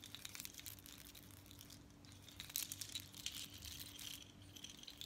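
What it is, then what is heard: Seashell bead necklace. Long nails scratch and tap a necklace of long strands of small hollow seashells with red beads worn on the chest, and the strands are lifted and shaken so the shells clack together. The result is a quiet, continuous stream of dense, bright clicking and crisp scratching with a high, glassy edge. Louder clattering bursts rise in the middle of the clip.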